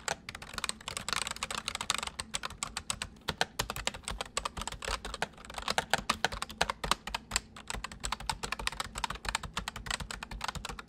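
Fingertips of both hands type rapidly on a white full-size plastic mechanical computer keyboard. A dense, uneven stream of sharp, bright clicks and clacks sounds, each keystroke dying away almost instantly, with occasional louder bursts as the pace picks up.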